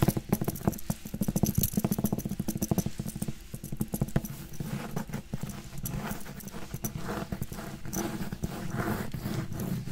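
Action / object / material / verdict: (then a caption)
tap / cloth-bound hardcover book / cloth, board / none. A closed red cloth-bound hardcover book with gold decoration, held in one hand, has its cover tapped and scratched with fingernails. Quick, dull, low-pitched taps come in rapid clusters through the first half, then give way to steadier scratching rubs with occasional taps.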